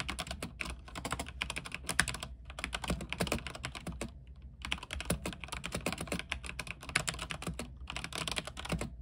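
Fingertips type continuously on a backlit mechanical keyboard with white plastic keycaps on an aluminium frame. Dense, short, bright key clacks come in quick bursts, with brief pauses near 2.3 seconds and 4.5 seconds, over a steady low hum.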